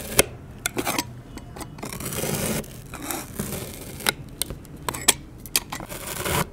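A metal knife with a clip-on microphone slices horizontally through the side of a solid round puck of pink kinetic sand resting on an MDF board. Soft, gritty scraping and rasping swell and fade, broken by sharp, bright ticks and clicks as the blade cuts through the packed sand.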